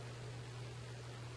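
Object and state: Nothing is struck.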